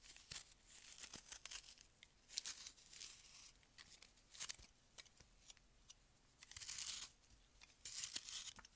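A palm-sized, solid frozen melamine foam magic eraser is held by hand and cut and scraped with a metal utility-knife blade. Quiet, dry, bright tearing and crunching strokes mix with sharp little clicks and a few longer rasping scrapes, with almost no low end. Crumbly shavings come away as it is carved.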